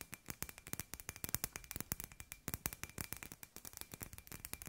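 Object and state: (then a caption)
Glass light ball. A hand-sized hollow glass light ball with fairy-light wire inside is held in the hand and tapped with long grey-white nails. About 36 quick, dry, bright clicks come in a rapid, uneven stream over nearly five seconds, each dying away at once. A faint steady tone runs underneath.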